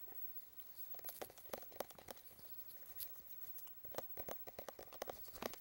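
A medium plastic Dunkin' Donuts travel tumbler with a blue lid and a printed label, hollow, is held in both hands and tapped and scratched along its side with the fingertips and nails. Quiet, irregular bursts of short, crisp plastic taps with a mid-pitched knock ring out, mixed with bright, scratchy rustling. Each tap dies out almost instantly.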